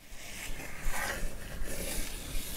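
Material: Nothing is struck.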